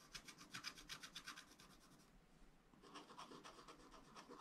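A wooden stylus scratches and rubs across a strawberry area on a black wax-coated scratch-art page in a small spiral-bound pad of thin, flat paper. Quick, dry, bright scratching strokes repeat about four times per second, briefly easing to a soft rub in the middle before the strokes pick up again.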